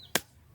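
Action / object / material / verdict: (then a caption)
strike / wood apple fruit with a hard woody shell / woody shell / ripe. A pestle strikes a ripe wood apple to crack its hard, woody shell. One sharp, bright crack rings out across the range and dies away almost at once. The shell splits open, and the fruit is ready to eat.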